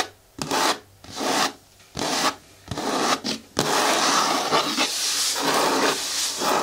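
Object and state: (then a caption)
Hard plastic bin scratched with nails. Long nails scratch, rub and tap the side of a hollow, hard green plastic bin with a lid and handle. Short bursts of dry, bright scraping come with brief pauses between them, then run together into a steady, continuous rubbing hiss.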